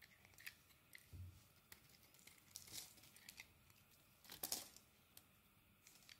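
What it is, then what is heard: Soap bar being carved. A metal blade carves shavings and chunks off a solid purple soap bar held in the hand. The sound is quiet, bright, crisp scraping and crackling, with short dry cuts and a soft low thump early on. The strongest rasping bursts come near the middle and end.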